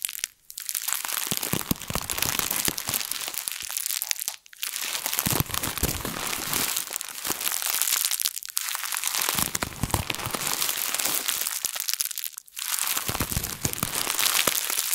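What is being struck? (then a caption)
Thin plastic bag. A printed thin plastic bag is balled in both hands and squeezed and crumpled with the fingertips. It makes a dense, continuous crinkling and crackling that is mostly bright and high, broken by brief near-silent pauses roughly every four seconds.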